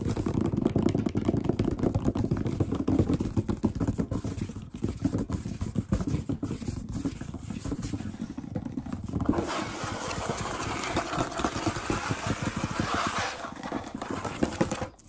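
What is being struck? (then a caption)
Wooden tabletop. Fingertips tap rapidly on a large solid wood-grain tabletop, making a dense stream of dull, low thuds with short decay. About nine seconds in, hands also sweep across the surface, adding a brighter, hissing scrape under the continuing taps until the sound stops abruptly at the end.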